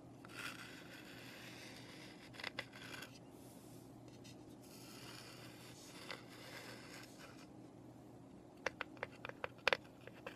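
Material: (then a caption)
Pine wood. Long nails scratch softly across the flat side and roof panels of a small, hollow, unfinished light pine birdhouse, with a low steady hum underneath. The quiet scraping gives way to a run of sharp, bright, dry taps toward the end.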